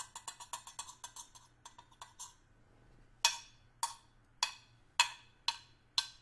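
A small, hollow stainless steel hip flask, held upright, is tapped with the tip of a small screwdriver. A quick run of light, bright metallic ticks is followed by a pause and then six louder, evenly spaced taps, each with a short ring centred near 940 Hz.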